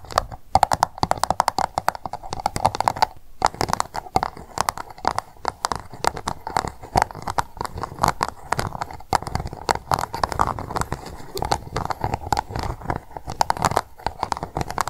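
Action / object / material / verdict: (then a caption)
tap / upturned plastic cup tapped with fingernails / plastic / none. Long nail tips tap rapidly on the base of an empty pink plastic cup turned upside down. The result is a dense, continuous stream of short, dry clicks with a hollow mid-range tone around 820 Hz and almost no ring.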